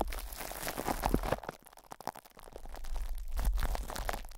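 Fingertips of both hands rub and scratch crinkly plastic cling film wrapped over a hollow metal mesh microphone grille. Dense, irregular crackling and crinkling with soft scratches fills the clip, louder at the start, easing in the middle and building again toward the end. A deep low rumble from the grille runs underneath.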